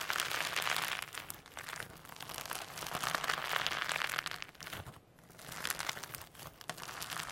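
Firm hologram slime loaded with mini sequins is pressed and kneaded on a table, then lifted and squeezed between the fingers. A dense, continuous crackling and crinkling fills the clip, bright and high-leaning with little low end. It dips briefly near the five-second mark before the rustling squish resumes.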